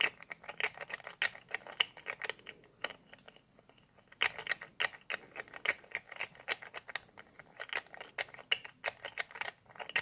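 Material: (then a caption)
Plastic. Fingertips repeatedly twist and click the white plastic nozzle cap of a small white plastic squeeze bottle with a red label. The result is a rapid run of sharp, bright, dry clicks and ticks with almost no ring and no low end, broken by a brief quieter lull near the middle before the clicking resumes.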